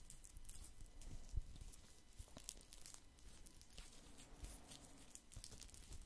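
Fingertips scratch a round woven straw placemat that sits mostly below and behind the mic. The result is a steady, quiet run of dry, crackly scratching, with bright rustling bursts over a soft low rumble. A few louder scrapes stand out along the way.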